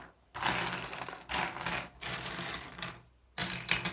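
Fingertips rake and shuffle a pile of small, solid, blue iridescent flat glass gems on a wooden surface. Four bursts of dense, bright clicking and clattering are separated by brief quiet pauses, with a faint low hum underneath.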